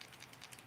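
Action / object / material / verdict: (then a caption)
shake / plastic crankbait fishing lure / plastic / faint. An original plastic Wiggle Wart crankbait fishing lure is shaken to check its internal rattle, giving five faint, high-pitched ticking clicks. The rattle is only faint, a sign the lure has some issues.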